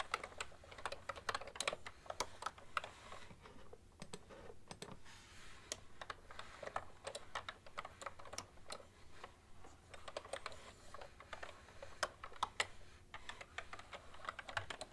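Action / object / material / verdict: tap / plastic computer keyboard keys / plastic / none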